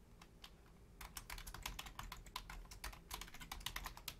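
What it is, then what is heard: Plastic computer keyboard. Fingertips and long painted nails type rapidly on a black plastic Logitech full-size keyboard with a hollow shell and membrane keys, using both hands. A few sparse, quiet clicks in the first second give way to a fast, dense run of short, dry, bright key taps over a low background rumble.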